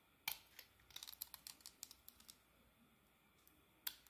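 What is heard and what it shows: A solid oval soap bar with a marbled coating and a pale green core, held in the hand, is carved with a metal blade. About 14 crisp, bright ticks and short scrapes come in quick bursts, each dying away almost instantly, with a final sharp click after a brief pause. The sound is quiet and almost entirely high-pitched, with no low end.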